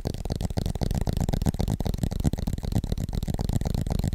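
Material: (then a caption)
Aluminum. Fingertips tap rapidly on the aluminum back of a flat, thin iPad tablet with an Apple logo, held upright in both hands in front of a microphone. The taps come fast and unevenly as a dense stream of dull, low, muffled thuds with almost no ring or bright edge.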